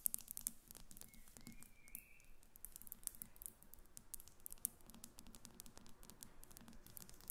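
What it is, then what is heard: Glass perfume bottle. Both hands tap a small, faceted, clear glass Gucci perfume bottle, partly filled and standing on a table, with long acrylic nails. The result is a quiet, continuous stream of rapid, crisp clicking ticks that overlap densely, with very short decay and a faint low rumble underneath.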